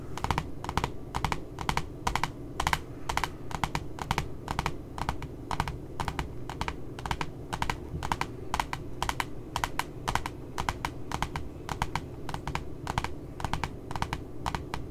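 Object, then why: Glossy cardboard notebook cover. Long nails tap fast on the right side of the glossy cardboard back cover of a spiral puppy notebook. They make crisp, clicky taps, often in quick pairs, with a tone around 930 Hz. A steady low rumble sits underneath throughout.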